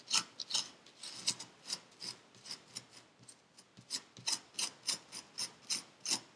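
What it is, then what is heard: Kinetic sand scraped in a paper cup. A metal needle tool scrapes lines through purple kinetic sand packed into a paper cup. Eighteen short, bright, raspy scratches come in a steady rhythm, each quick and dry with almost no low end.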